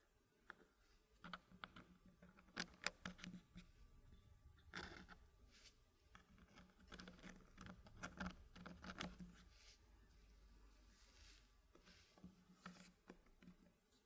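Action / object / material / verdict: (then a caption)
tap / wooden puzzle blocks in a wooden frame / wood / none. Fingers lift and drop a small solid dark-wood block into a puzzle, then tap and rub the fitted wooden pieces inside a green-painted wooden frame. Short, dry wooden clicks and knocks are scattered over soft scraping and rubbing, with a faint low hum beneath.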